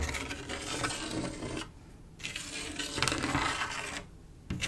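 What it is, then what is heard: Glass mosaic tiles scratched with a fingernail. Long acrylic nail tips scratch and trace along the swirls of a large, solid flat panel of silver, mirror-like glass mosaic tiles set in grout. The result is a bright, gritty rasping and scraping with fine clicky detail, broken by two brief, quieter pauses before the scratching resumes.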